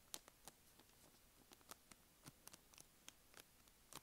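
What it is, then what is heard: Soft plastic wet wipes packet. Long nails scratch and squeeze a small, filled, blue and white soft plastic wet wipes packet, crinkling its plastic film. Quiet, sharp, bright ticks and crackles come in irregular bursts over a faint hiss, each dying away almost instantly.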